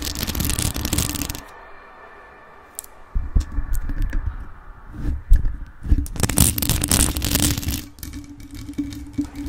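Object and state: Rhinestone-covered metal microphone, scratched and tapped.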